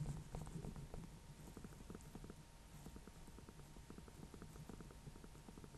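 A small orange-yellow pumpkin with a painted face, a hollow gourd held in both hands, is tapped with nails and fingertips on the top near the stem. The result is a quiet, rapid, irregular patter of soft, low, hollow knocks with short decays and a faint bright click at each touch.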